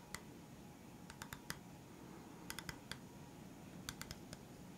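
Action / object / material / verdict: tap / round bamboo board tapped with fingertips and nails / bamboo / none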